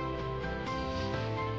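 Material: Nothing is struck.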